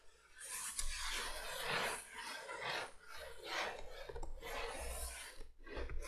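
Long painted nails scratch and rub across a flat, printed cardboard box for a vintage 3-light window candolier lying on a table. Dry, raspy strokes sweep back and forth in a steady, bright scraping texture, with brief dips between passes and a low hum underneath.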